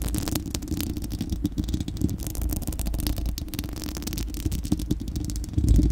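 Long acrylic nails on both hands scratch across a bare, round, hollow dome of steel-mesh microphone grille. The result is a dense, continuous, rumbling scratch, heavy in the low end with a faint rattling texture and brief sharper scrapes. It swells louder in the last half second.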